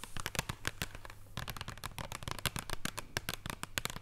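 Long purple nails on both hands rapidly tap a flat, thin wrapped chocolate bar in printed cardboard packaging lying on a wooden table. The result is a dense run of sharp, dry clicks with almost no ring, scattered unevenly through the clip over a low background hum.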